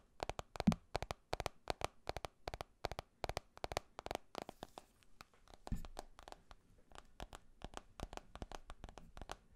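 Fingertips and nails tap and scratch on a handheld smartphone with a glass screen and a silver metal edge. Quick, dry, sharp clicks come in steady bursts with barely any ring, and a brief softer scratchy stretch in the middle. The taps fill the whole clip at a low overall level.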